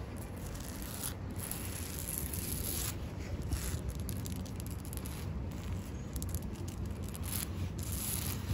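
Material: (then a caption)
Tree bark. Long acrylic nails scratch and rub the rough, furrowed bark of a large, solid living tree trunk covered in green lichen, outdoors. The result is a steady, low-level rustling and scraping texture with a constant low rumble underneath and brief bright scratchy bursts throughout.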